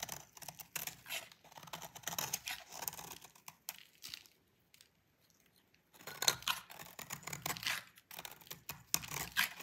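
A utility knife blade scrapes crumbly flakes off a solid white oval bar of dry soap with a pink painted edge. Quick, bright, crackly scraping and crumbling come in dense bursts, fall nearly silent for about two seconds midway, then resume.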